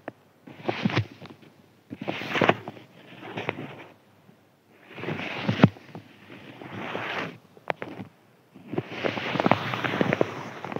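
A thin white crinkly paper sheet is scratched and rubbed with fingertips. Bursts of dry crackling and rustling come in about five separate passes with short silences between them. Each pass is dotted with sharp little crinkle snaps.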